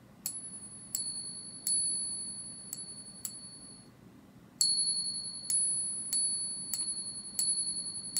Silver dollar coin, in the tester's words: its distinctive ring very nice ring to it